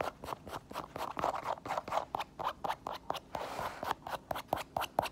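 Long nails tap and scratch the heel of an empty white synthetic leather sneaker, then move to the side stripes of its synthetic upper. About 26 quick, dry, irregular clicks are heard, mid-pitched and scratchy, with brief rasping scrapes between them. The sound is soft and close, with no ring after each tap.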